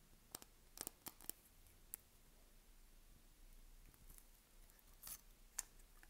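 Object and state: Dry soap bar scratched with a blade.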